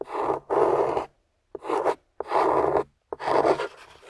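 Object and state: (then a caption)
Clay-coated soap bar being scraped. A small metal spatula with a wooden handle scrapes and carves the dry, chalky beige clay or plaster coating off a hand-held, clay-coated amber glycerin soap bar. Five gritty scraping strokes, some opening with a brief sharp click, are separated by short silences. The rasping sound is mostly midrange with a bright edge.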